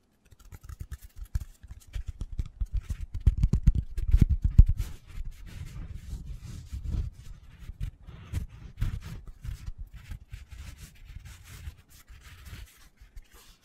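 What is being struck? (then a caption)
Foam cylinder. Fingertips scratch and tap the surface of a hand-sized black foam cylinder, held upright and then horizontally. The result is a rapid, irregular run of soft, muffled low thuds with brief scratchy rustles, swelling louder around the middle before settling into steadier, quieter tapping.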